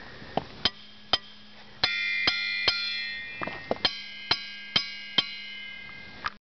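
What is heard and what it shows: A hammer strikes boulders at Ringing Rocks State Park twelve times. Each blow gives a sharp metallic clang with a high, bell-like ring around 3 kHz that fades quickly, and the stones ring as they are known to.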